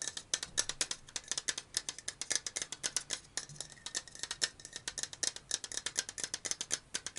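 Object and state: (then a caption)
Metal aerosol can tapped with fingernails. Fingernails tap rapidly on a black and purple metal aerosol deodorant can, first along its body and then on its top. About fifty quick, dry clicks sound one after another over seven seconds. Each tap is bright and high with almost no low end, and each one dies away almost at once.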